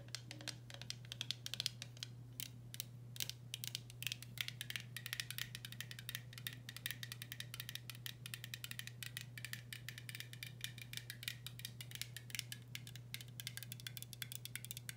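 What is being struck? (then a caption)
Metal screw lid on a glass jar. Long nails scratch and tap the top of a blue metal screw lid on a full glass pickle jar, making a dense run of quick, bright clicks and scrapes that die away almost instantly. A steady low hum runs underneath throughout.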